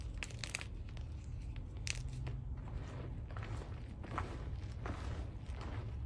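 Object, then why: Pile of gym chalk chunks and powder. A large mound of crushed white SPRI gym chalk (magnesium carbonate) powder and small chunks in a black dish is squeezed and crumbled with fingertips, palms and long red nails. Dry, crunchy crackles and crinkling bursts with bright edges come in irregular clusters over a steady low hum.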